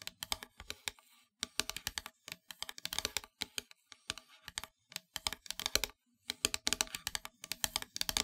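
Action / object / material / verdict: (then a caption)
tap / painted wooden heart plaque / wood / none. Long nails tap rapidly on the flat surface of a solid, black-painted wooden heart plaque. Dense bursts of short, dry, bright clicks are broken by brief pauses, with each tap dying away almost instantly.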